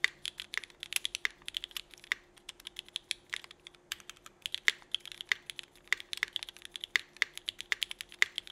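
A 65% mechanical keyboard with red and black GMK ABS plastic keycaps, Cherry Vintage Black switches and an aluminum plate is typed on steadily with the fingertips of both hands. The keystrokes are rapid, crisp, bright clicks with very short decay, concentrated around 2 kHz, and there is a faint steady hum beneath them.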